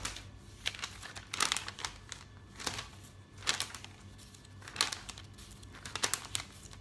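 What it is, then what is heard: Paper catalog. Fingertips turn and flick the thin glossy pages of a thick open paper catalog lying on a table. Each turn brings a bright, crisp burst of crinkling and rustling paper, set between quieter soft page handling over a faint low hum.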